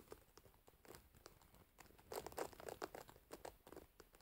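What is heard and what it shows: Long nails scratch and pluck the metal pins of a wooden hairbrush, set in a rubber cushion, up close. Quiet, crisp, irregular plucks and scratchy crinkles follow one another quickly, with short dry ticks that grow louder and brighter from about halfway through.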